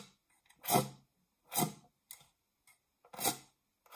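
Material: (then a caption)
Metal. Long nails scratch the textured base of a round, dark non-stick metal springform baking pan, held upright, hollow and empty. Three slow, swelling rasping strokes sweep across the surface, with faint ticks and short scrapes between them. The scratching is bright and airy with a hollow, lightly ringing body, fading quickly after each stroke.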